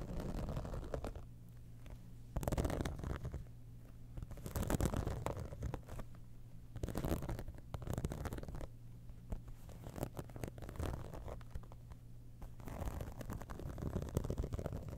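Long nails scratch the top surface and edges of a hollow, embossed, iridescent holographic faux-leather cosmetic bag. A steady low, rumbling scrape runs throughout, broken by several louder bursts of brighter, rasping scratching. The textured synthetic surface gives a soft, muffled scratch.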